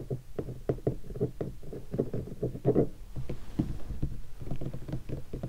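Fingertips tap and knock in a quick, uneven rhythm on the upper lid of a large hollow guitar hard case with black leatherette covering and vinyl stickers. Each hit is a dull, low, hollow thud that dies away almost at once, with almost no bright content.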